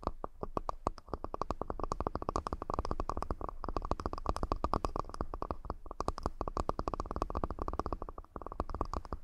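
A wooden accessory box is tapped rapidly and continuously for about nine seconds, with brief pauses near 1, 6 and 8 seconds. Each tap is a short, dry knock with a low thud and a hollow woody tone around 1.2 kHz that dies away almost instantly.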